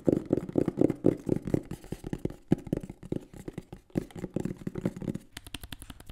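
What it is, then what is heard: Cardboard box tapped and scratched. A green and black printed cardboard microphone box is held in the hands and tapped and scratched with the fingertips and nails. Quick, irregular, hollow, dull thumps with a low-mid body come in a dense stream. Near the end they give way to lighter, brighter tapping and scratching with a crisp high edge.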